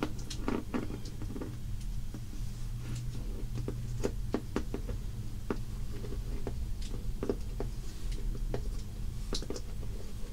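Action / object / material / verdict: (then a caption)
scrape / shrink-wrapped cardboard box of crayons / cardboard, plastic film / none. A soft makeup brush, held in one hand, sweeps over the plastic-wrapped surface of a shrink-wrapped Crayola cardboard box full of crayons resting on a wooden table, while the other hand steadies the box. The result is a quiet, steady brushing patter over a low rumbling bed, with scattered light, crisp ticks and scratches rising briefly into bright tones.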